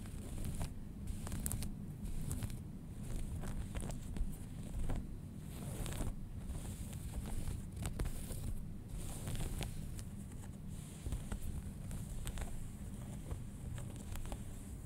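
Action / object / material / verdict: scrape / denim jeans, cotton fabric / denim / none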